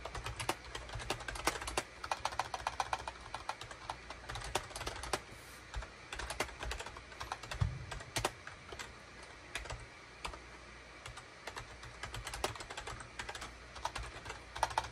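Fingertips type rapidly on a full-size gray and cream SHIPADOO K600 wired USB keyboard with a hollow plastic case and plastic keycaps, resting on a desk mat. Dense, quick, clacky key taps carry bright plastic clicks over a soft low thump, with an occasional louder key strike. Brief lulls break up the steady flow of typing.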